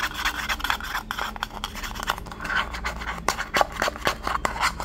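A small, empty, hollow white paper cup with a blue pattern is held in the hand while fingertips and nails rub and scratch along its side and rim. The result is a steady, papery rasping with quick, crisp scratches and sharp little clicks, bright in the midrange over a faint low hum.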